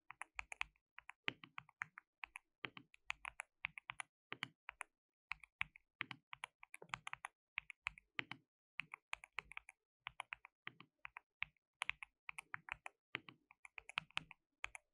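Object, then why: Plastic mechanical keyboard. Fingertips of both hands type on a compact white plastic mechanical keyboard with pale keycaps and a hollow case, resting on a dark desk mat. A steady stream of quick, bright clacking taps comes in bursts with short pauses. Each tap stops almost instantly and has little low-end thump.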